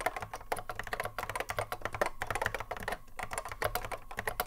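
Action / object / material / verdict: tap / plastic mechanical keyboard / plastic / none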